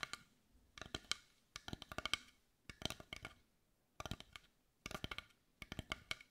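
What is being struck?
Carved wooden heart.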